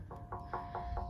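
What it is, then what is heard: Zinc (white bronze) grave monument. Five evenly spaced knocks on an ornate zinc (white bronze) grave memorial at Oakdale Cemetery in Wilmington, NC. Each knock gives a hollow, thin metallic tone with a faint ring that fades quickly over low background rumble. The hollow sound and the visible seams mark the memorial as zinc.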